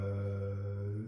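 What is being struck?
Nothing is struck.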